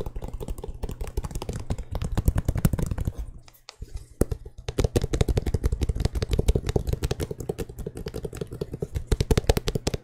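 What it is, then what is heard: Leather and rubber sneaker. A hollow, empty white sneaker in the Air Jordan 6 style, with mint and black accents, a leather upper and a rubber sole, is held in both hands and tapped and clicked with fingertips and nails. The result is a rapid, steady stream of short, dull, low taps and clicks that briefly quiets around the four-second mark before resuming just as densely.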